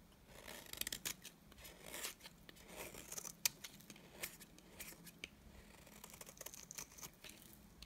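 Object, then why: Bar of soap scraped with a knife blade. A utility knife blade scrapes shavings off the face and edge of a solid, dry cream soap bar. Quiet, bright, crisp scraping and shaving strokes come in short bursts with sharp clicks, over a faint low hum.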